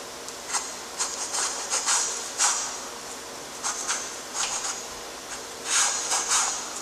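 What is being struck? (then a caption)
Graphite stick on toned drawing paper. A graphite stick held in a gloved hand rubs and scratches the gothic letters f and g onto a flat, lined, gray-toned drawing paper sheet. Short bursts of bright, scratchy friction come in quick clusters, separated by a faint steady hiss, with almost no low end.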